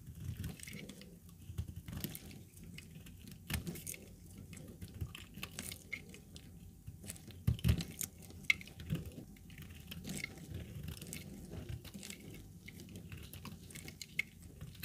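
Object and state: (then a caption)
Dry laundry soap bar. A hand-sized, solid pale yellow dry laundry soap bar, held in a black-gloved hand, is sliced with a utility-knife blade, and the shavings fall onto a pile of soap pieces. Many short, dry scraping and crackling cuts are heard, with bright crisp edges over a soft low rumble and no ring after each stroke.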